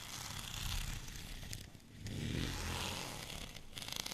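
Fingernails scratch across a white, bumpy plastic rolling pin held in one hand. The result is a dense, crackly rasping with bright, gritty texture over a low rumble. It eases briefly near the middle, then picks back up with sharper scratches toward the end.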